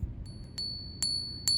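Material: Base metal.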